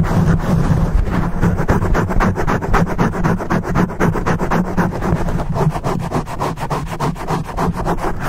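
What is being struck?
Foam microphone windscreen.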